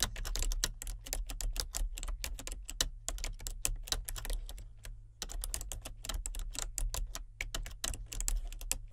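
Fingertips with painted nails type steadily on a full-size plastic computer keyboard with color-changing backlit keys, producing rapid, bright, crisp key clicks over a constant low hum. The typing pauses briefly just after the midpoint, then resumes at the same relaxed pace.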